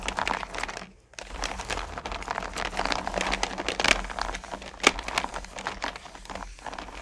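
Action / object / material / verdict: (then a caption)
scrape / candy corn pumpkins in a plastic bucket / hard candy / none. Fingertips and long nails rake through and stir small solid candy corn pumpkins in a purple plastic bucket, making a dense, bright rattling clatter of the candies knocking against each other and the plastic. The clatter pauses briefly near the one-second mark, then resumes steadily, with a few sharper, louder clicks standing out later.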